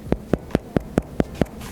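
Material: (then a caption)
Bread. Seven evenly spaced knocks on the bottom of a homemade demi baguette produce short, hollow thumps centered around 200 Hz. The hollow sound indicates the small loaf is baked through, full of air rather than dense or raw inside.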